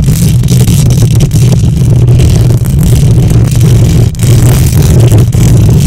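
Long nails on both hands scratch the hollow metal mesh grille of a silver condenser microphone. The result is a loud, continuous, boomy rumble centered low around 105 Hz, with a faint rough scraping texture above it and only a couple of brief dips in level.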